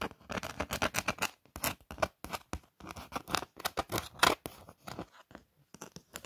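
Long nails trace and scratch along the lettering of a glittery printed Eid greeting card made of thin card stock. Quick runs of dry, bright scratching strokes follow one another with brief pauses, each stroke crisp and scraping with no lingering ring.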